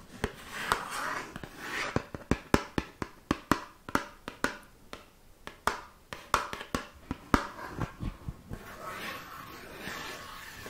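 A small, light blue-green, hollow rectangular cardboard cosmetics box is held in one hand close to the microphone and tapped and scratched with long painted nails. Brief scratchy rustling gives way to a quick run of sharp, dry, hollow taps with almost no ring. The clip ends in a longer stretch of soft, bright scratching across the cardboard.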